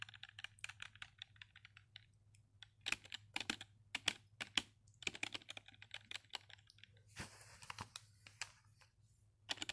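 Fingertips type and tap on the hollow keys of a black full-size plastic wireless keyboard resting on a bed sheet. Quiet, bright clicks come in quick bursts and die away almost instantly, with a faint low hum underneath. Around the seventh second there is a brief hissy swell.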